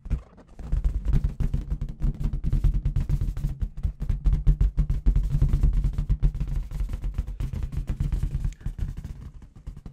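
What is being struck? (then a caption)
Inflated latex balloon with confetti inside. Long red nails tap fast on a clear, hollow, inflated latex balloon with confetti inside, held in the other hand. The result is a rapid, dense stream of deep, boomy thumps with very short ring, briefly easing off near the start and again near the end.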